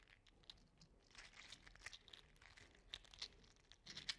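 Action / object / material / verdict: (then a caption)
shake / 3D printed plastic articulated slug toy / plastic / none. A small copper-orange 3D printed plastic articulated slug toy is flexed, curled with the fingertips and rolled on the palm. Its segments click together in quiet, bright, rapid ticks and crinkly rustles with very little low end.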